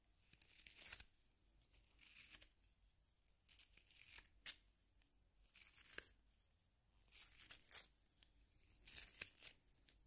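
A solid yellow wooden pencil is twisted by hand in a small pink plastic sharpener, and the blade shaves the wood. Six quiet bursts of bright, dry, scratchy shaving are heard, each with short crisp clicks, separated by near-silent pauses.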